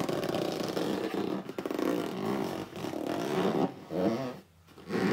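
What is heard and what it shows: A hollow red cardboard box is gripped and squeezed by both hands while upright, then laid flat. It makes steady squeaky gripping and rubbing sounds with a dense, low-mid tone, broken by a few short pauses and a brief quiet gap near the end before the rubbing resumes.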